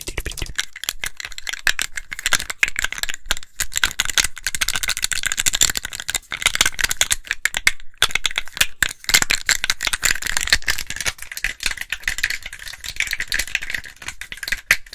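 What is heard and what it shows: A small, hollow, clear plastic case or tube with a white label and small loose contents is held in both hands, shaken and tapped with long acrylic nails. The result is a fast, dense, bright rattle of clicking contents and crisp nail taps with very short decays, briefly pausing near the middle before continuing.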